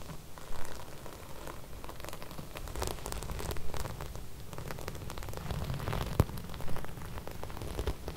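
Long red nails on both hands scratch and smooth flat silver sequin embroidered fabric. The sound is a steady, low, rumbling rustle with a dense patter of dry, crackling ticks, like rain on a surface. A few sharper clicks stand out when the sequins snap back.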